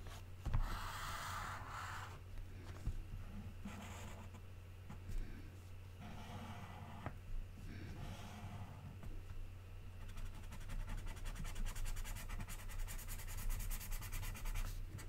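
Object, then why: Coloured pencil on glossy magazine paper. A red colored pencil is drawn back and forth across the printed page of an open glossy paper magazine lying flat on a table, filling in a sketched shape while the other hand rests on the thin sheets. Bursts of soft, scratchy rubbing come and go, then turn into a faster, finer stroking near the end. A steady low hum runs underneath throughout.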